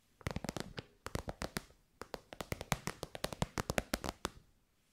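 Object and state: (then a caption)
Faux-leather pouch tapped with fingernails. An elongated, shiny pink metallic faux-leather synthetic pouch, soft and hollow, is tapped with long white nails. The result is bursts of rapid, dry, crisp taps with a hollow, muffled body, each dying away almost instantly, separated by brief pauses.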